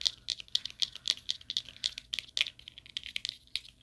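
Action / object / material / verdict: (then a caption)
tap / thin plastic clothes hanger / plastic / none. A thin purple plastic clothes hanger with a hollow frame is held by both ends and tapped and scratched with the fingernails. About twenty-two quick, dry clicks and scratches come in an uneven rhythm, each dying away almost instantly. The sound is bright and thin, centred near 3.6 kHz, with no low end.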